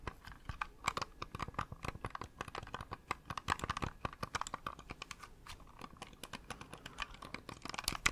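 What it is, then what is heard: Plastic computer mouse. A small, hollow, cream-coloured plastic computer mouse is held in one hand near the microphone while fingertips click its buttons repeatedly. A fast, uneven stream of sharp, dry plastic clicks follows, each bright and short with almost no ring, carrying a hollow tone around 1–2 kHz.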